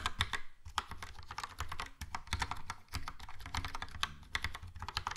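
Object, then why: Plastic mechanical keyboard. Fingertips type steadily on a Logitech POP Keys plastic mechanical keyboard with a yellow plastic case and round plastic keycaps. Rapid clicky, clacky keystrokes pair bright, sharp attacks with a low thud from each key bottoming out, with brief pauses between bursts of typing.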